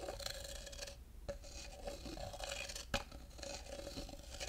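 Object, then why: Carved wooden cup. A thin wooden stick scrapes around the inside of a tall, hollow, empty carved wooden cup while fingers touch its rim. The result is a continuous dry scraping with a steady woody tone, bright rasping texture, and a few sharper clicks along the way.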